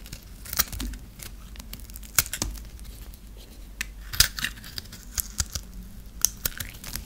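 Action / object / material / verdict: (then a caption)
scrape / bar of soap cut with a metal blade / soap / none. A hand-held, dry, solid pink bar of soap is scored and scraped with a flat metal blade into small cubes. Crisp, bright scraping and crackling comes through with irregular sharp clicks over a low background rumble.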